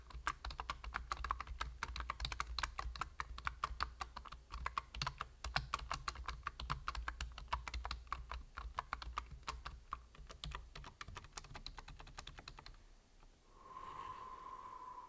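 Fingertips type rapidly on a full-size black plastic computer keyboard, producing a dense stream of crisp, clicky key taps over a low steady hum for about 13 seconds. The hands then leave the keys, the typing stops, and a faint steady tone near 1 kHz remains until the end.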